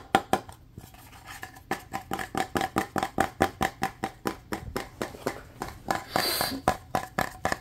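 A small, light wooden box or block with a black cord, probably hollow, is held in both hands and tapped fast with fingertips and nails. About 27 quick, dry, hollow knocks follow one another, each with a short woody ring around 777 Hz that dies away almost at once. Near the end, a brief bright hiss rises under the tapping.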